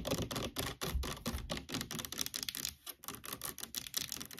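Long nails rapidly tap and scratch the back label and sides of a large orange plastic fabric conditioner bottle standing upright on a table. The result is a quick run of crisp, dry, clicky taps with bright, scratchy rustling between them. A few hollow low thumps sound near the start.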